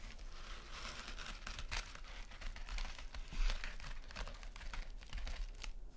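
A small, flat, rectangular gold metallic mesh scrub sponge is scratched rapidly across with long nails and squeezed. The result is a dense, continuous crinkling and rasping texture with bright, crisp crackles riding over a low, steady rumble.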